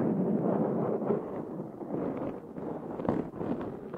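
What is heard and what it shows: Fingernails of both hands scratch a black foam windscreen on a Zoom H6 recorder, giving a dense, continuous scraping rustle. The sound is muffled and low-to-mid heavy, with no bright top. It swells and dips irregularly throughout, with a brief sharper scrape about three seconds in.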